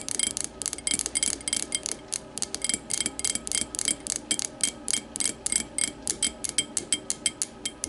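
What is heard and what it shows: Long matte nails tap an empty clear glass tumbler lying on its side, striking its thick base rim and side. About 36 quick, bright glassy clicks come in a steady, rapid rhythm. Each one dies away almost at once, with little low end beneath.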